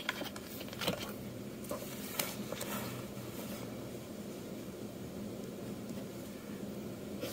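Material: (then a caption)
Paper. A metal dip-pen nib scratches rough inking strokes across a flat sheet of manga manuscript paper. About six brief, bright, scratchy strokes stand out over a steady low hiss, each fading quickly.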